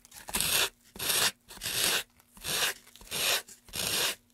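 Gloved hands rub sandpaper back and forth across a carved, solid light pine wooden tray with grooves, sanding the wood. Each stroke makes a bright, hissing, gritty scrape, separated by short pauses in a steady, even rhythm.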